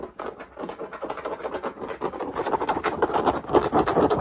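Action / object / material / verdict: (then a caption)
scrape / structured fitted cap with stiff brim / fabric / none. Fingertips and nails tap and scratch the stiff brim and crown of a black structured New Era fitted cap held in the hands; the brim carries a sticker. A fast, uneven run of dry, short midrange taps mixes with scratching, growing louder toward the end.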